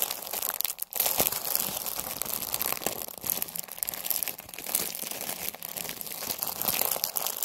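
A pack of Halloween paper napkins in a clear plastic wrapper, held in both hands, is squeezed and crinkled with fingers and nails. Bright, dense crinkling and crackling runs steadily throughout, with a brief drop near the one-second mark. There is almost no low end.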